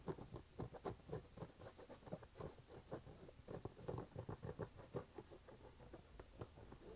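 Fingertips and nails tap and scratch the canvas upper and rubber sidewall of an empty red canvas low-top sneaker held in both hands. Quiet, rapid, dull taps mix with soft scratching in a steady patter, the sound mostly low and muffled with almost no bright edge, and each tap dies away almost at once.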